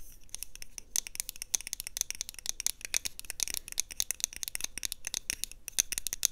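A small, round, hollow pink plastic blush compact, held close to a lapel mic, is tapped and scratched with long nails and fingertips. A rapid, dense stream of crisp, bright clicks and scratchy rasps follows, each tap dying away almost instantly with little low end.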